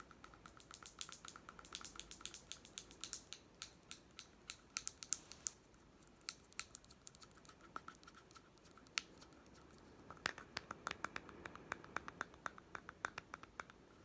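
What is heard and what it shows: A small hollow plastic toy pet food tin with a white end cap is tapped with fingertips and short nails on the cap and the labelled side. Quick, dry, bright clicks come in irregular bursts, with a soft pause in the middle. Each tap stops almost at once with no ring, and the overall level stays quiet.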